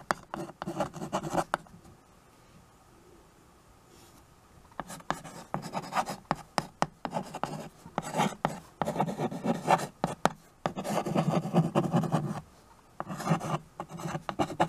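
White chalk scratches across the surface of a small, flat chalkboard in a wooden frame while names are written on it. Bursts of dry, gritty scraping with a low-mid body come in uneven strokes, separated by quiet pauses.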